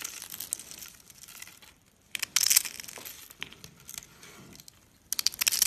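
Pieces are broken off a solid, brittle spiral and curls of white rolled dry soap and crushed with the fingertips. Dry, bright crunching and crackling comes in loud bursts, with softer crinkly crackles in the quieter stretches between them.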